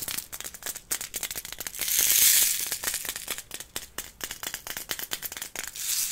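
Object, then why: Small container holding beads. A small container with beads inside is handled, producing quick, uneven rattling clicks of beads shaking against it, with a brief louder, hissing swell of shaking near the middle. The sound is bright and crisp, sitting almost entirely in the high frequencies.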